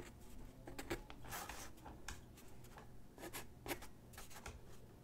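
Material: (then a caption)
Paper. A graphite pencil sketches lines on a single white sheet of drawing paper resting on a wooden desk. Quiet, dry scratching strokes come in short bursts of bright, broadband rasp over a low rumble. Some strokes are longer, brushing passes, and others are quick, sharp flicks.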